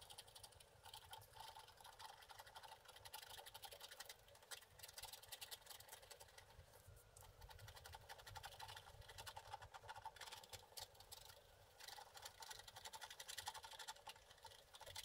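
A wooden stick rapidly scratches the wax coating off the flower bouquet area of a flat, black-coated scratch art card. A continuous stream of bright, dry scraping strokes runs the whole time, rising and falling slightly in loudness.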